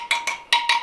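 A tool taps the steel spokes of a Royal Enfield Interceptor 650 motorcycle's wire wheel to check their tension. There are four clear, bright ringing taps around a steady pitch of about 950 Hz, each fading in roughly a quarter second. None gives a flat, dull thud, so the spokes are all tight and okay.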